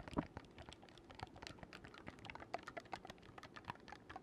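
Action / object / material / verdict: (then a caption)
tap / oboe keywork, metal keys on a wooden body / metal / none. Fingertips rapidly click the silver metal keys of an oboe with a dark wooden body, held first upright and then horizontally. Many quick, dry clicks and soft pats come in an uneven stream with almost no ring, sounding much like fast typing.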